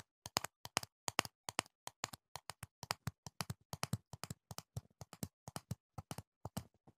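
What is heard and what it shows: A medium, hollow, clear plastic jar full of green foam earplugs, with a black lid, is held beside the mic and tapped with the fingertips, at times partly behind the mic. Around forty quick, dry taps come in uneven bursts, each pairing a soft low thump with a bright click. The taps die away instantly with no ring, leaving silence between them.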